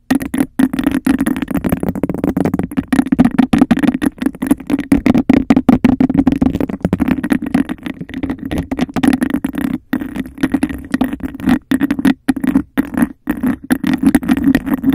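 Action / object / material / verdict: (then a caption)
tap / textured glass cup / glass / none. A clear, hollow, bubble-textured glass cup placed over the microphone is tapped and scratched fast with fingernails along its sides. It makes a dense stream of quick, dry clicks and scrapes over a steady hollow resonance around 258 Hz. The pace is nearly continuous with only brief gaps.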